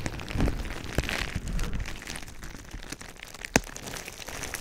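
Clear plastic bubble wrap wrapped around a microphone is squeezed and rubbed by both hands with the fingertips. A steady, close crinkling and crackling comes with a heavy low rumble from the handling, broken by a few sharp, bright pops, the loudest near the end.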